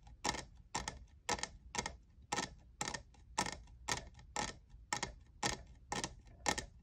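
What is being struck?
Plastic tumbler.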